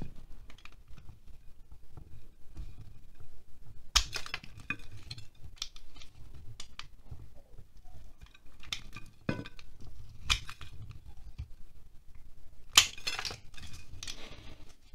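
A utility knife shaves and scratches wax off a solid green-core wax pillar candle held in the hand. Steady, dry scraping and shaving strokes run throughout with a low rumble beneath, and a few louder, bright, sharp scrapes stand out.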